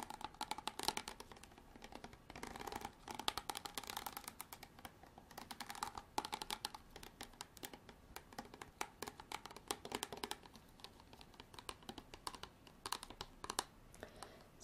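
Long artificial nails tap and scratch the ridged side of a clear ridged plastic bottle with water in it, held upright near the camera. A steady, quiet stream of quick, dry clicks and raspy scrapes sits mostly in the mid and high range around 860 Hz, with almost no low end. Each tap dies away almost instantly.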